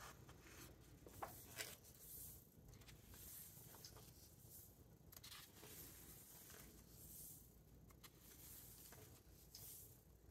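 Fingertips slide over the glossy paper pages of a large hardcover book and turn them, making soft, continuous rustling and swishing with a steady low rumble underneath. Brief crisp snaps stand out early on, and bright paper swishes recur throughout.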